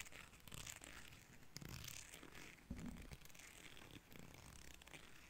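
Fingertips and nails strum the fine teeth of a small, solid, cream plastic hair comb held close to a microphone. The sound is a run of raspy, zipper-like buzzing strokes with a bright crackle on top and a soft low rumble underneath.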